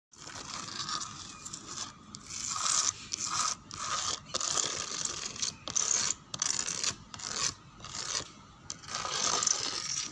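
Long painted fingernails scratch across a large, flat, solid-panel wooden door, dark brown with pale grain streaks. The result is a series of dry, bright rasping strokes in uneven bursts separated by short pauses, with almost no low end.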